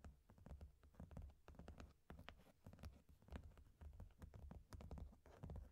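A medium, closed, hollow corrugated cardboard shipping box is held briefly, then long painted nails tap its top panel near the tape. The taps come in quick, uneven bursts of dry, muffled knocks with a deep, hollow body and almost no ring.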